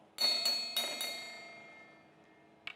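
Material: Metal.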